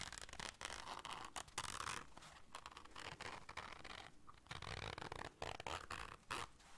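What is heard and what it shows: Long dark nails scratch the fabric of a small round black zipper case held in the hands and work its zipper. The result is a quiet run of dry, broadband rasps and zipping scrapes in short bursts with brief gaps, centered around 1 kHz with a bright hiss above.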